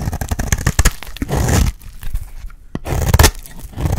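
A solid, dry, light blue bar of soap held in the hand has its edge shaved into flakes with a metal utility blade. Quick, crisp scraping and cutting strokes crackle with a low thud underneath, ease off briefly, then start again.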